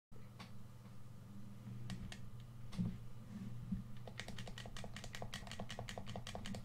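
A red, hand-sized, hollow plastic PS4 controller is held in both hands over a white surface while fingertips and thumbs press and click its buttons and sticks. Scattered sharp plastic clicks give way, after about four seconds, to a quicker run of bright, dry clicks. A steady low hum runs underneath throughout.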